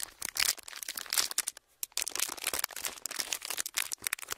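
A pleated clear plastic sheet with hollow folds is squeezed and crinkled with the fingers of both hands. The result is a dense, bright crackling made of rapid, irregular bursts with almost no low end, broken by a short quiet gap partway through.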